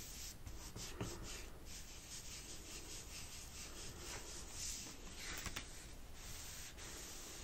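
A wet wipe held under fingertips with long painted nails rubs across the closed black plastic lid of a laptop, a flat, hollow device, while a cloth is held in the other hand at the end. The result is a steady, soft scrubbing wash with a low, hollow rumble beneath bright hiss, broken by a few faint sharper ticks and swells as the strokes change.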